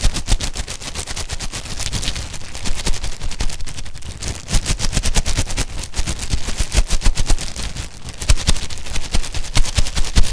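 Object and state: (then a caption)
Plastic-wrapped stack of disposable cups. A long stack of white ribbed disposable cups, hollow and empty and still in their clear plastic wrapper, is held in both hands and squeezed and crinkled through the wrapper with the fingertips. The result is a dense, rapid stream of sharp crackling snaps with short, dry decays over a heavy low-end rumble, swelling in bursts throughout.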